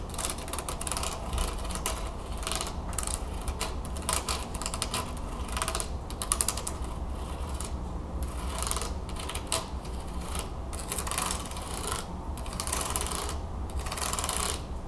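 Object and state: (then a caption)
Wooden hand fan. Long nails run over the ribs of a wooden hand fan with thin carved slats lying open on a table. They make a steady, rapid ratchet-like clicking with bright, crisp edges over a low rumble. The sound continues without pause through the whole clip.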